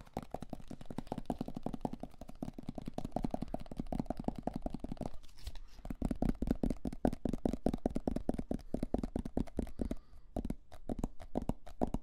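Fingertips and nails rapidly tap and scratch the lid and sides of a hollow, medium plastic supplement tub with an orange label and white lid. The result is a dense, continuous run of short, dull, hollow taps centred low, around 250 Hz, with a soft scratchy texture. The tapping thins briefly around 5.5 seconds and again near 10 seconds.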